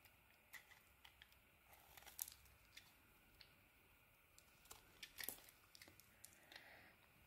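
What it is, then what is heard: Bar soap being carved. A palm-sized bar of white soap with a purple-red coated surface, held in one hand by fingertips with painted nails, is shaved and carved with a small metal knife blade, producing curls and flakes. Quiet, bright, crisp scraping and short crunchy cuts come in scattered bursts, with the sharpest, loudest strokes around two seconds and just past five seconds. Each cut ends almost instantly, leaving a soft, hissy background between strokes.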